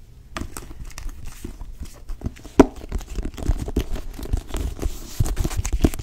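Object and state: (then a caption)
Cloth-bound hardcover book. Long nails tap and scratch the cover of a blue cloth-bound hardcover book, making a steady stream of soft, dull taps mixed with dry scratching and crinkling. The sound sits mostly in the low range with little brightness, and one sharper, louder tap stands out early on before the tapping grows busier toward the end.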